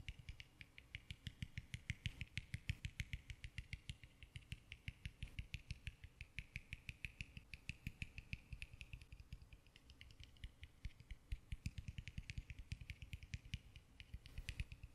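Fingertips and nails tap and scratch the peel of a small, solid, unpeeled whole orange about the size of a clementine, held in both hands close to the microphone. Quick, uneven taps come about three times a second, each a short dull thump with a crisp, bright click on top. A soft scratchy rustle runs underneath, and the sound stays quiet and close throughout.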